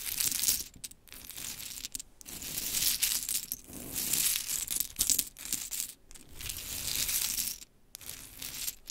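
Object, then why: Pile of small wooden clothespins. Long chrome nails scratch and tap a heap of small pink wooden clothespins resting on a sparkly cloth. The result is dense, bright clicking and rattling in bursts, broken by brief quiet gaps.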